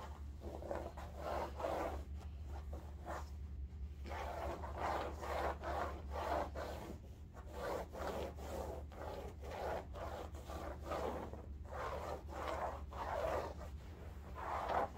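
Long nails scratch a large cylindrical bolster pillow of striped woven upholstery fabric lying horizontally. Repeated soft, dry rasping strokes are heard, with a steady low hum underneath.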